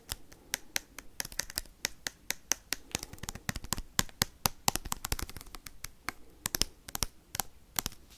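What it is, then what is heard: Foil card pack tapped with paperclips. Metal paperclips worn on the fingertips tap and scratch fast across a sealed foil Pokemon booster pack with cards inside. The result is a rapid run of sharp, bright clicks over a steady crinkly, scratchy rustle, and each tap dies away at once.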